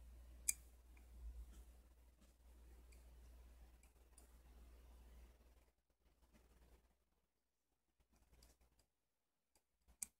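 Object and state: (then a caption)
Steel adjustable wrench, jaw adjusted. A solid chrome steel adjustable wrench is handled with the fingers as the thumb rolls its knurled worm screw, opening and closing the jaw with small, bright metallic ticks. A low hum sits under the first half before the clip drops to near silence with scattered soft ticks, and two sharper clicks stand out near the start and the very end.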